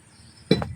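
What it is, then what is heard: Brittle cast iron scrap. A piece of cast iron scrap is struck with a sledgehammer, giving a sharp, clinking metallic hit followed by a second, lighter knock. The hit shows the scrap is cast iron, which is hard but brittle and chips off quickly when struck, unlike ordinary steel, which only dents.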